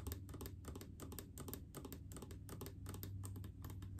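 Long acrylic nails tap quickly and irregularly on a large blue plastic mouthwash bottle full of liquid. Each tap gives a bright, crisp click over a soft, low, hollow thud, in a steady, fairly quiet patter.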